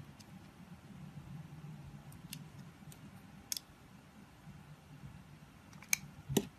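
A utility knife blade scrapes and cuts into the surface of a palm-sized, solid, translucent blue glycerin soap bar held in the hand. A soft, low, steady scraping rustle runs throughout, and four sharp, bright clicks stand out near the end.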